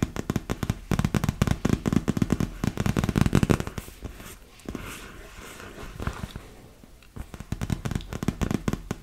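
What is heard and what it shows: Long nails tap rapidly across a large, hollow, inflated PVC vinyl beach ball, making dense, dry, hollow thuds with no ring. Midway the tapping gives way to a quieter stretch of scratching over the surface, then quick tapping resumes.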